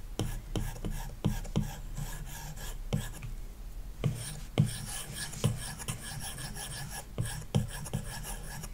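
A plastic stylus tip scratches short strokes across the glass touchscreen of an iPad lying flat on a wooden desk, the screen likely covered with a paper-like matte protector. A steady dry rasp runs throughout, broken by frequent sharp, brief ticks as the tip strikes and drags across the film, with most of the energy low and thudding.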